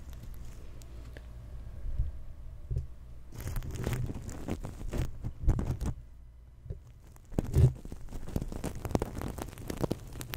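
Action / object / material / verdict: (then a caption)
scrape / stuffed fabric pillow covered in flip sequins / sequins / none. Fingers brush and rub back and forth across the flip sequins of a soft, stuffed, green crocodile-shaped pillow held close to the microphone. The result is a muffled, low-heavy scratchy rustling that comes in uneven swipes, with louder bursts around 2, 4 to 5.5, and 7.5 seconds separated by quieter stretches.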